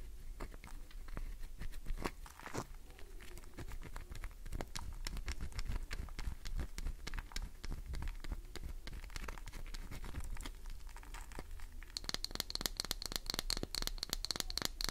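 Long nails scratch along the face and edge of a solid green glycerin soap bar, making a dense run of quick, dry crackling scrapes and clicks over a low steady rumble. In the last few seconds the scratching turns brighter and sharper, with a thin high ringing edge to each stroke.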